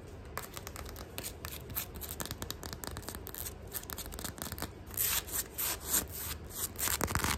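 Nails scratch and rub along the textured fabric upper of a black sneaker held up close, making a rapid run of dry, crackling scrapes. The strokes are fairly steady for the first five seconds, then turn louder and brighter with harsher bursts toward the end.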